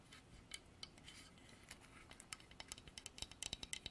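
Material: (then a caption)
Wood. Long nails tap and scratch the carved surface of a dark, polished solid-wood horse figurine on a stand. Quiet, bright clicks and soft scratching build into a quick run of sharp taps, each dying away almost at once.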